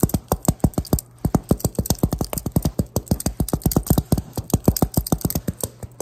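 A figure in a Ghostface costume taps a metal prop of Pyramid Head's knife, making about 36 quick, short taps in a fast, fairly steady rhythm over six seconds. Each tap is a dull, low thud that dies away almost at once, with little brightness or ring.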